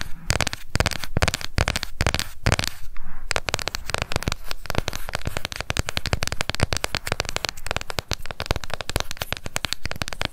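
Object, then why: Plastic cushion compact. A small round pink plastic cushion foundation compact with a clear lid is held up and fast-tapped on its rim and lid with long nails. Rapid, dry plastic clicks come in a dense stream, with a brief lull around three seconds. The tapping then continues even faster and more tightly packed to the end.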